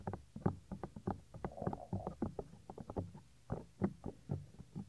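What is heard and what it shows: Fingertips cup, press and rub the small, solid, white soft silicone ear of a 3Dio binaural microphone. The result is a quick, uneven run of close, muffled thumps and soft scuffing rubs, heavy in the low end with nothing bright on top.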